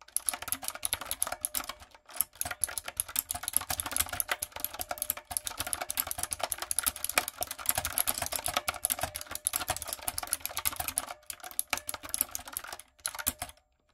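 Long coffin nails and fingertips type steadily on a backlit, typewriter-style mechanical keyboard with round retro plastic keycaps and a hollow plastic body. The result is a dense stream of bright, sharp clacks with short pauses near 2 and 11 seconds, and the typing stops just before the end.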